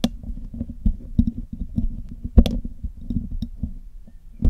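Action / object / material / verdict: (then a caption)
scrape / metal mesh microphone grille / metal mesh / none. A metal needle and metal tweezers pick at the hollow black metal mesh grille of a Blue Yeti microphone while it is being cleaned. The result is a steady run of dull, low, scratchy taps and ticks, with a few sharper bright clicks. Each contact dies away almost instantly.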